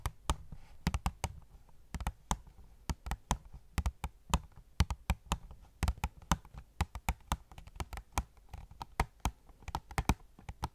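Long nails tap rapidly on an opened cardboard phone case box with a plastic window holding a gold case. The taps are quick, dry clicks with a low, hollow thump beneath them. They fall in an uneven, steady stream and each dies away almost instantly.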